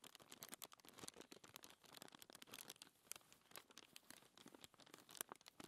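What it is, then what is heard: Paper sheet being scratched. Long nails and fingertips scratch and rub a thin white paper sheet resting on a table. The result is a quiet, continuous stream of bright, crinkly scratching and rustling made of many quick, dry bursts, with almost no low end.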